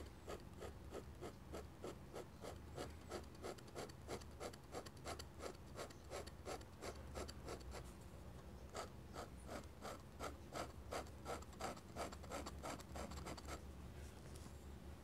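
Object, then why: Metal pen nib on thick drawing paper. A metal dip-pen nib scratches across thick drawing paper in quick, repeated hatching strokes, each a short, dry, bright rasp at a steady rhythm of about three strokes per second. There is a brief pause near the middle before the strokes resume, all over a faint, steady low hum.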